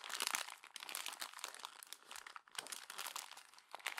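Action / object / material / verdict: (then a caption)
scrape / glossy paper magazine pages / paper / none. A hand presses down on the crumpled pages of a glossy paper magazine and turns a page, making a continuous dense crinkling and crumpling. The crackle is bright and high, with almost no low end. It comes in quick, overlapping bursts throughout.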